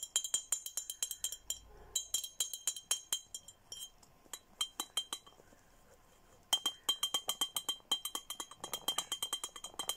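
An empty clear glass Hello Kitty bottle with a red plastic cap and straw, held in the hand, is tapped with nails. Rapid runs of bright, glassy clinks with a high ringing tone fade almost instantly, broken by a short quiet pause before the tapping resumes.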